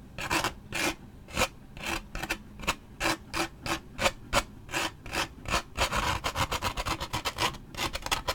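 A thin toothpick-like stick scratches the printed side of a large waxed paper drink cup with a lid and straw, held in the hand. A series of short, dry, raspy strokes with a bright edge sounds in separate bursts, coming faster and closer together toward the end.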